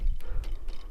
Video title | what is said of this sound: Estruturas Viper x RedFly - #ANÁLISE | e não tem barulho de metal solto não tem nada balançando